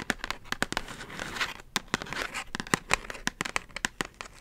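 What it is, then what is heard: Cardboard package of beeswax wraps. A flat kraft cardboard envelope-style package of beeswax food wraps with a string-tie closure is held upright and tapped and scratched with long acrylic nails. Quick, sharp, bright clicks come in an irregular run, separated by softer papery scratching and crinkling.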